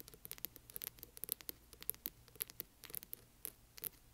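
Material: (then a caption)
Cardboard. Fingernails scratch along the spine of a large hardcover book, then move onto its front cover. The sound is a quiet, dry patter of many brief, crisp scratches and taps, bright and hissy, with a faint low hum underneath.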